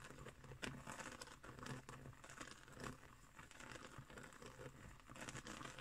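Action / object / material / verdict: scrape / woven straw trivet / straw / none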